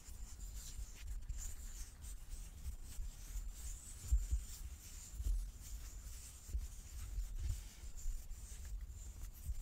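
A large solid light-wood die with dark pips is held in both hands and turned in the palms while fingertips and nails rub and slide over its faces. The result is a soft, low rubbing with faint scratchy high hiss and a few slightly louder bumps as it shifts.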